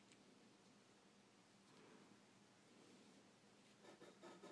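A graphite pencil draws wave lines on a stack of white drawing paper resting on a dark table. A soft, continuous scratching rub of the pencil tip on the paper carries on throughout, with a few brighter, slightly louder strokes near the end.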